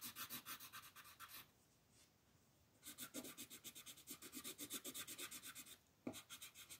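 An orange colored pencil shades a flat white paper mandala coloring sheet in dense, rapid back-and-forth strokes. The result is a bright, raspy scratching and rubbing that comes in three bursts separated by two short quiet pauses.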